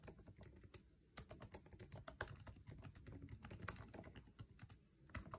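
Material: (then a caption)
Plastic. A MacBook Air laptop keyboard with plastic keycaps in an aluminum chassis is typed on fast with fingertips. There is a dense run of short, sharp clicks and soft low thuds with quick decay. The keystrokes come in uneven bursts with brief pauses.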